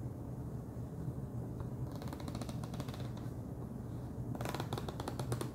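Fingernails tap and drum on the top of a wide orange plastic screw lid on a large clear plastic jar full of cheese puffs. Two runs of quick, bright, dry plastic clicks come in bursts over a steady low hum, the second run denser and louder.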